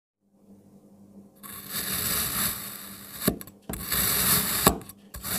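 A black kitchen knife is pressed and drawn through a solid, palm-sized molded block of red and green kinetic sand, cutting it into slices. After a faint low hum, a bright, crunchy, grainy scraping rises as the blade moves through the sand, with sharp thuds as a slice comes through and a new cut begins.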